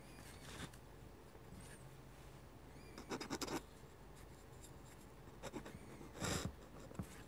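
A metal-nib dip pen scratches lines across flat white drawing paper as a hand writes text. Short, dry, bright scratching strokes come in irregular clusters over a quiet background, with the loudest bursts near the middle and toward the end.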